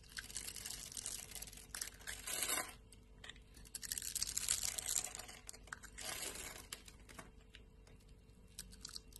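A metal utility knife blade scrapes and cuts small cubes off a solid rectangular bar of pink soap held in the palm with long painted nails, the bar scored into a grid. Bright, crunchy scraping and crackling come in irregular bursts, with louder stretches of dense crumbling around the middle and later in the clip.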